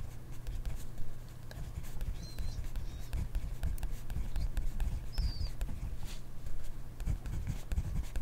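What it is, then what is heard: Pen writing on a paper notebook page. A ballpoint pen writes on a grid paper notebook page, close up, scratching across the paper in a steady run of soft, low, rustling strokes over a faint low hum. A few faint high chirps sound briefly in the background.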